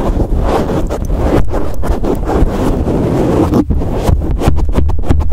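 A black foam windscreen on a microphone is squeezed, rubbed and scratched with thumbs and fingertips. The result is a dense, low, rumbling crackle of scratchy bursts with brief breaks, heavy in the bass and with almost nothing bright.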